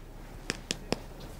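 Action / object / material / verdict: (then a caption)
tap / fibreglass arm cast / fibreglass / set. Three sharp taps on a fibreglass arm cast, checking whether it has set, each a short, dry knock with almost no ring. The cast is dry and hard.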